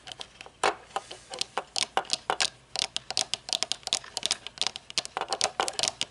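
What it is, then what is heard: Metal-frame sunglasses tapped and scratched with nails. Long nails scratch and tap the dark tinted lenses of metal-frame aviator sunglasses held upright, working along the metal rim. A rapid, uneven series of bright, crisp clicks and scratchy ticks is heard, each dying away almost at once with no low-end body.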